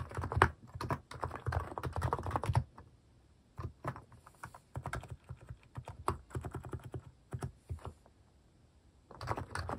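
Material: Plastic.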